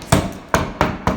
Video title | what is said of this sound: Latest reno job before work begins | the water got into the cracks, and this is all just drummy